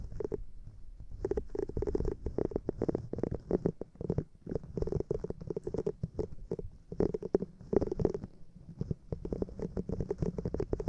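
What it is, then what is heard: Silicone cleansing pad scratched and tapped. Long painted nails scratch and tap across a small, flat, light-blue silicone cleansing pad with bristles, held up in one hand; the pad is solid, flexible and rubbery. The result is a dense run of quick, soft rubbery scratches and taps with a low, rumbling body and a muted midrange tone. Faint bright hiss rides above it.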